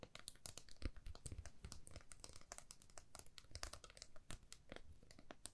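A flat, thin, solid laser-cut plywood heart with a cut-out swirl pattern, palm-sized and held in both hands, is tapped and scratched quickly with long manicured nails. The result is a quiet, continuous stream of rapid, dry clicks and crinkly scratches with bright ticks and a soft low thump beneath, each tap dying away almost instantly.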